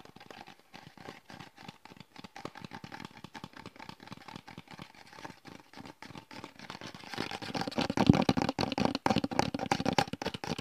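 Fingertips rapidly tap and scratch a hand-held translucent plastic gel bottle with a red cap and a blue "Gel" label, held close to the microphone. Quick, dry, hollow plastic clicks and scratchy rustles repeat at an uneven pace with almost no ring. The tapping grows louder and denser after about seven seconds.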